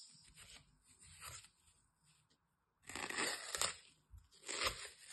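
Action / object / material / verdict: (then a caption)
scrape / dry floral foam block cut with a metal blade / floral foam / none. A metal utility knife blade slices and scrapes along the edge of a hand-sized, solid, dry green floral foam piece with ragged edges. Bright, crunchy tearing and scraping strokes come in short bursts, with a near-silent pause in the middle before louder, denser cuts.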